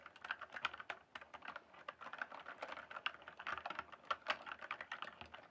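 Fingertips type and tap on the keys of a full-size RGB backlit plastic mechanical keyboard with a hollow case. A fast, steady stream of sharp, short clicks and clacks centers around 1.6 kHz, with some bright edge to each keystroke. The keystrokes vary a little in loudness, and each one dies away almost at once.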